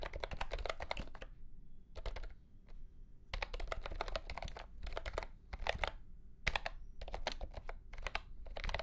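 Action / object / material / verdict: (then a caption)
tap / plastic mechanical keyboard with round keycaps / plastic / none. Fingertips of both hands type on a mint-green retro mechanical keyboard with round plastic keycaps in a hollow plastic case. Bursts of rapid, bright, clacky keystrokes come in runs separated by short pauses, each click dying away quickly over a steady low hum.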